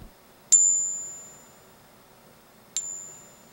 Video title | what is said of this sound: Identifying Counterfeit Coins - Morgan Dollars, Silver Eagles, Gold Double Eagle and 1799 Large Cent | so if I take a fake double eagle here and I tap the side of it it's like a high-pitched ring almost